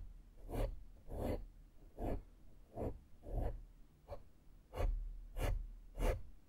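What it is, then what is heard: Foam microphone windscreen being brushed. A small flat makeup brush strokes the side of a black foam microphone windscreen in repeated soft brushing passes. Each stroke makes a short, breathy scratch with a deep, muffled low rumble under a faint airy hiss, separated by quiet gaps.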